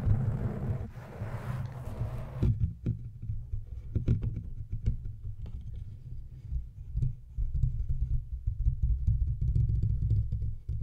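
Fingertips and nails of both hands repeatedly tap and scratch the hollow silver metal casing of a large studio microphone. A brighter, hissing scrape in the first couple of seconds gives way to dense, muffled low thumps and rumbling rubs that stay deep and boomy throughout, with short, dry decays.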